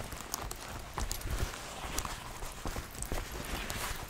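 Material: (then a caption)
Leather. A brown leather biker jacket with brass buttons and metal zippers is held up by the collar with both hands, shaken and handled while fingertips move along the leather. A steady rustling hiss carries low, soft thumps and bright, crisp clicks and creaks from the leather and hardware throughout.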